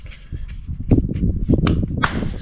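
Ceramic floor tiles on a concrete porch, re-laid with adhesive mortar and regrouted, are tapped again. They give short, dull, low thuds with very little ring. The hollow sound is gone and the tiles are solidly stuck down.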